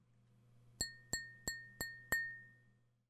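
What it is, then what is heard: Glass vase. A glass vase is tapped five times, each tap giving a bright glassy clink with a clear ringing tone near 1.8 kHz. The rings fade quickly, and the last one lingers a little longer over a low steady hum.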